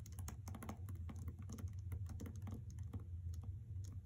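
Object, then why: Hardcover book with paper dust jacket. Long red nails tap and scratch the paper dust jacket of a hardcover novel lying on a carpet, with some taps landing near the edges. Quick, dry clicks and soft scratches patter in a dense, uneven stream, each dying away almost at once over a steady low hum.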